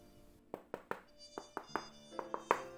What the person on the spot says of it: Dass das Gehäuse mit Schaumstoff gefüllt war, lässt sich erahnen: Es klingt nicht hohl.